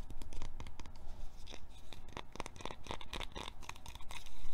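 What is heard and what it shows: A small, hand-sized white plastic lotion bottle with a dark grey plastic cap, hollow and apparently filled, is held in both hands and tapped and scratched with fingertips and short painted nails. The result is a quiet, continuous patter of quick, dry taps and scratchy rubbing, dense with short clicks and a low, muffled body.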